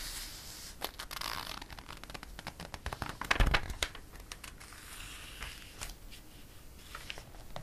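A flat palm rubs and smooths the pages of an open glossy paper catalog, making a steady bright rustling hiss broken by sharp crinkly ticks. Around the middle, a page is turned with a louder, fuller crinkle before the soft smoothing resumes.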